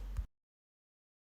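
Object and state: Nothing is struck.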